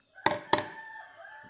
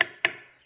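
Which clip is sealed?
The second.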